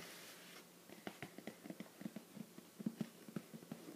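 Fingertips tap the lid of a closed, hollow, shoebox-sized teal printed cardboard "Treats" subscription box held in one hand. The result is a quick, uneven run of soft, dull taps with a low-mid thud around 200 Hz that dies away almost at once, over a faint hiss.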